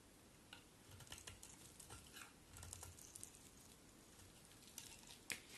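A palm-sized solid white bar of soap, held in one hand, is shaved and scraped with a utility knife blade held in the other long-nailed hand, and the flakes fall onto a white surface. Quiet, crisp scraping and shaving strokes with short bright ticks around 2.4 kHz rise and fall over a low background hum, ending in a sharper click near the end.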